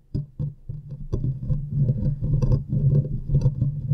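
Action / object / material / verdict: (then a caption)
tap / metal mesh microphone grille / metal mesh / none. Long painted nails from both hands scratch and tap the hollow metal mesh grille of a large USB microphone. The result is a fast, loosely rhythmic run of deep, boomy thuds with a low hum-like body, overlaid by a continuous rustling scratch and occasional bright ticks, growing denser and louder as it goes on.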